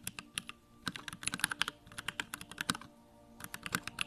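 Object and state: Plastic mechanical keyboard.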